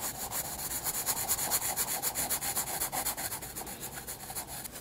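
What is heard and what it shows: A pencil, held low on the shaft, shades a white paper sketchbook page with long rubbing strokes. The result is a steady, quiet run of rapid, bright, papery scratching swells, about four per second, with almost no low end.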